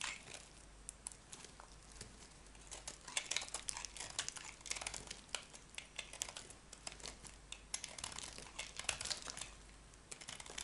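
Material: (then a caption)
Soap. A metal knife blade shaves crumbly flakes from a small piece of solid, dry cream bar soap. The clip is a steady stream of quiet, bright, crisp scraping and crackling ticks with almost no low end, each stroke stopping dead without ringing.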